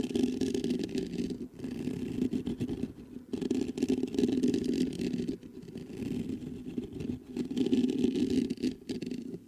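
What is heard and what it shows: Fingertips scratch and rub the mesh grille of a black metal USB microphone. The result is a dense, rough scratching and rubbing that is strongest in a low-mid band. It comes in uneven bursts broken by brief gaps near 1.5, 3.3, 5.4 and 8.8 seconds.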